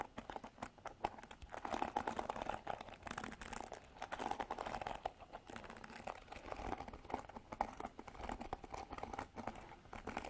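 Long nails scratch and strum the black bristle pad of a white plastic paddle hairbrush. The result is a steady, quiet stream of rapid, dry, crackling clicks and scrapes that stop short with no ring.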